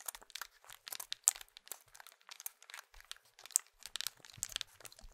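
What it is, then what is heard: Plastic mobile phone. A small, hollow plastic Nokia mobile phone is held in the hands while fingertips press and click its keypad buttons and tap the casing. The result is a quiet, steady stream of dry, crisp clicks and crinkly taps that are bright and high-pitched with almost no low end. Each sound stops instantly, with a few sharper clicks standing out.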